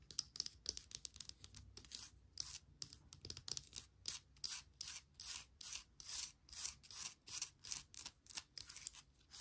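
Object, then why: Wooden bark log planter. Long nails scratch and tap the textured surface of a small hollow wooden bark log planter holding an air plant. Bright, dry scratching and tapping bursts come in quick succession, settling into a steady rhythmic series of short rasping strokes with almost no low end and no ringing.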